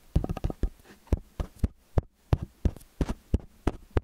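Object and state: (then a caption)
Metal stereo microphone being tapped. Fingertips and nails tap the capsule heads of a metal stereo microphone with angled capsules. Deep, muffled thumps land in an uneven rhythm, some in quick clusters, with a faint low hum between them. Each tap is dry and dies away almost at once.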